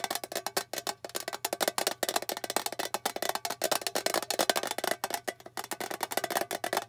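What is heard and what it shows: Long fingernails tap quickly on the lid and edge of a small, flat, rectangular blue metal tin with a printed bow, which is hollow. It makes a fast, steady run of short, dry, clicky taps with a hollow, tinny mid-pitched tone and a bright edge. Each tap dies away almost at once.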